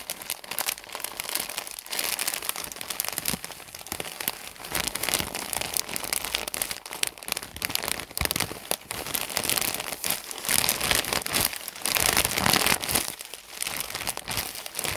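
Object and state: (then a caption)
Plastic bag of cotton pads being crinkled. Fingers squeeze and crinkle the corner of a plastic film package full of cotton pads. The result is a dense, continuous, bright crackling rustle with almost no low end, swelling and easing in loudness and peaking in the louder bursts near the end.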